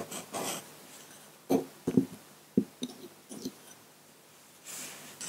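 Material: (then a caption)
Paper. A metal dip-pen nib in a wooden holder scratches ink lines across a flat sheet of white drawing paper lying on a table. Short, dry scratching strokes come in quick bursts, with a few sharper taps and softer, hissy strokes at the start and end.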